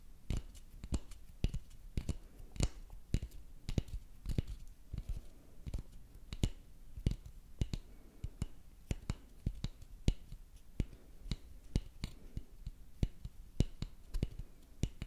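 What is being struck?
Wooden dowel stick.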